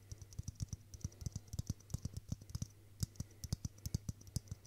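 A hollow, hand-sized clear plastic Christmas bauble filled with pink tinsel is tapped repeatedly with fingertips and nails. A fast, uneven run of short, dry clicks, each with a soft low knock and a bright tick that stops almost at once, sits over a faint steady low hum.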